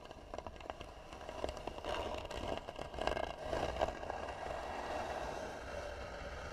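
Long nails scratch across the flat lid of a hollow, tan carved wooden box, producing dry, rasping scrapes with a woody midrange tone. The scratching builds to a few louder, grittier strokes near the middle and then settles into a steadier, softer rasp.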